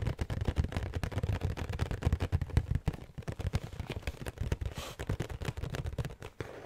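Long painted nails rapidly tap and scratch the front of a large, flat printed cardboard box of Utz Halloween pretzel treats, which is hollow and apparently full of snack bags and held up in one hand. The result is a dense stream of short, dull, low thumps with very brief ring, mixed with faint scratchy texture.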